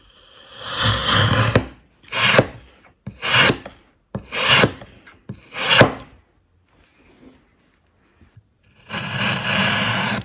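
A hand-held patterned steel blade shaves along the edges of a small solid block of light-coloured wood resting on a wooden work surface, carving it into a small rice ball shape and lifting curled wood shavings. A long rasping scrape is followed by a run of shorter, evenly spaced shaving strokes with a dry, bright edge. After a quiet pause, one more sustained scrape closes the clip.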